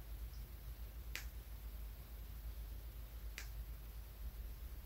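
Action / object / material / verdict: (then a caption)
tap / small polished tumbled stone / stone / none. A small, solid, polished brown tumbled stone is held in the fingers and tapped with the fingernail of the index finger. The taps are short, bright, dry clicks that fade quickly over a steady low rumble.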